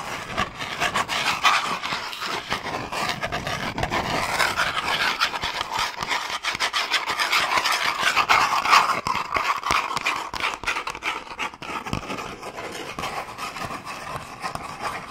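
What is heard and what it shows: Long painted nails quickly scratch and tap a small, long, hollow cardboard box printed "Bamboo toothbrush," held in both hands. The result is a dense, fast, raspy scratching texture centered in the mid range with bright edges, broken by many quick, dry taps that stop almost at once. It swells slightly louder around the middle before easing off.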